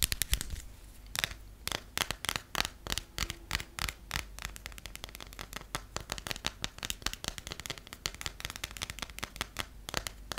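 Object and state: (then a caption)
Passport with a textured cover. Long nails tap and scratch the textured cover and edges of a closed passport held upright, with a sticker on the cover. A rapid, uneven stream of sharp, dry, bright clicks with very short decay runs throughout, along with faint scratchy rustling between the taps.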